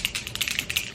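An Ebin lace tint aerosol spray can is shaken before use to mix its contents. A quick, steady run of sharp, bright rattling clicks centres around 2.9 kHz, with almost no low end. Each click dies away quickly.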